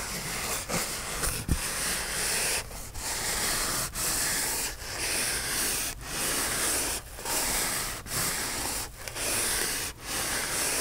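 Fingernails rub and scratch the surface of a white polyethylene foam block held upright in the hands. The result is a steady, bright, hissy scraping, broken by short dips roughly once a second as the strokes change direction.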